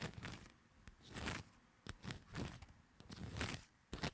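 Long nails tap and scratch the faces and edges of a fanned deck of coated paper playing cards held in both hands. Soft, bright scratching swells rise and fade, broken by sharp, dry clicks of the nails on the card stock, all at a quiet, close level.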